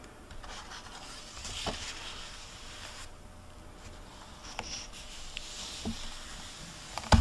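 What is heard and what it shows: Fingertips with long painted nails rub and turn the paper pages of an open hardcover library book with a plastic-covered dust jacket, lying on a wooden table. Soft, steady scratchy rubbing and papery hiss fill the clip, broken by a few brief sharper page ticks and a louder tap near the end.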